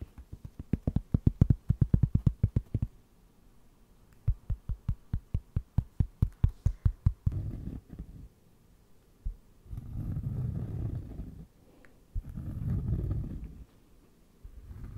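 A cork trivet is tapped repeatedly in quick, dry, low-pitched taps that come in bursts, followed by stretches of softer, sustained rubbing or scratching sounds across the cork.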